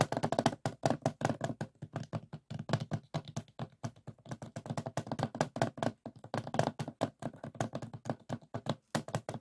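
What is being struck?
Hollow plastic DVD case.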